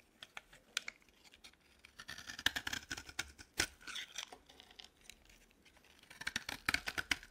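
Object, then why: Bar of soap scraped with a metal blade. A dry green bar of solid soap, held in the hand, is scraped with a metal blade. Crisp, bright scratching clicks and short rasping strokes come in uneven bursts, growing denser toward the end, with almost no low end or ring.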